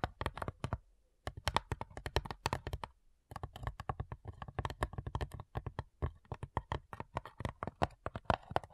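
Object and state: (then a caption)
Wooden cigar box. Long nails tap the top lid of a small, hollow, light-wood cigar-style box with brass clasps. Rapid bursts of short, dry clicks ride over a low hollow thump and die away almost instantly. The tapping pauses briefly twice before continuing in a steady, uneven patter.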